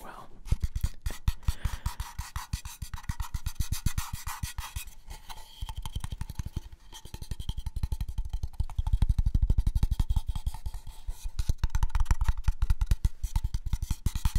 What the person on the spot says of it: It definitely makes some nice tapping sounds.